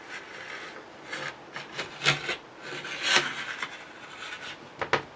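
A small metal scraper held in the fingers scrapes a thick layer of candle wax off a flat printed Christmas serving tray, lifting it away in curls. Short, bright, raspy scraping strokes come in uneven bursts, with a few sharper, louder passes standing out against a quiet background.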